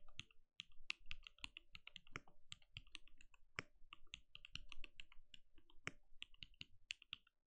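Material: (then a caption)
Plastic. Bare fingertips of both hands type steadily on a compact, RGB-lit mechanical keyboard with a translucent plastic case and plastic keycaps, resting on a desk. A quick, uneven stream of short, dry keystrokes sounds out, each a bright plastic clack over a soft low thud, dying away almost instantly with no ring.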